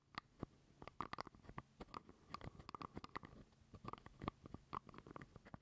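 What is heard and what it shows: Fingernails scratch and tap on a small, hollow purple plastic jar lid held close to the microphone. The result is a quiet, irregular run of dry, clicky taps and short scratches, each carrying a hollow, mid-pitched plastic tone with a little high brightness. The sounds stop dead with no ring.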